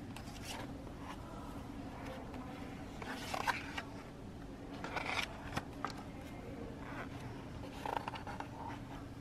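Long pink nails and fingertips scratch and rub across the printed paper pages of a large open hardcover book near the spine. Soft, dry scratching and rustling come in uneven bursts over a steady low hum, with a few sharper scrapes standing out.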